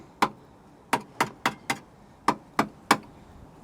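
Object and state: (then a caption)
Solid steel car chassis. Eight irregular knocks on the steel chassis rail underneath a 1968 Morris Minor, next to a rust hole. Each rap is sharp and short, with a dull, mid-pitched tone centred near 800 Hz and almost no ring. The metal sounds solid.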